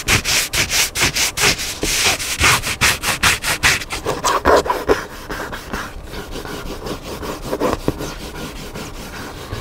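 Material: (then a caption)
Paper board. Fingernails scratch the black spine and cover surface of a large hardcover cookbook lying flat on a table. Quick, rhythmic, bright, dry scraping strokes come loud and distinct for about five seconds. They then fade into a softer, steadier scratching with a few faint louder strokes.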